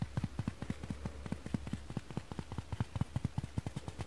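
A dry kitchen foam sponge is tapped quickly with fingertips and nails, giving a fast, uneven run of soft, dull taps that die away almost instantly. The taps are muffled and low, with almost no bright edge, over a faint steady low hum.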